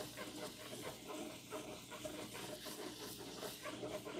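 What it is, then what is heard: Hardcover paper book being scratched. A flat-lying hardcover copy of "Atomic Habits" with a paper dust jacket is scratched and rubbed with fingertips and nails across its cover. The result is a steady, dry, hissy scratching and rustling with bright, papery texture and quick irregular strokes, holding a fairly even, quiet level throughout.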